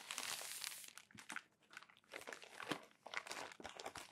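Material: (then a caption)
Glossy paper. Flat palms rub and smooth a stack of crumpled glossy magazine pages, and the pages are turned. The sound is a quiet, bright, dense crinkling and crackling with little low end, rising and falling in short bursts of rustle.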